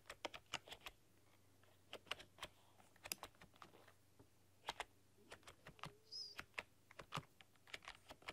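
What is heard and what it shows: Long dark-polished nails and fingertips type on a full-size plastic computer keyboard with black keycaps and a rainbow backlight, pressing and clicking the keys. About 29 sharp, bright clicks and taps come in uneven bursts with short pauses, each dying away almost instantly over a quiet low hum.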